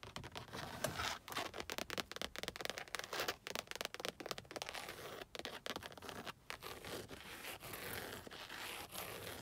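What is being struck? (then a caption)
Padded leather car headrest. Long acrylic nails scratch and tap across the surface of a padded, black stitched leather car headrest mounted on metal posts. The result is a dense, continuous run of dry, bright scratching and rasping with quick soft taps mixed in. Each sound dies away almost at once, and there is little low end.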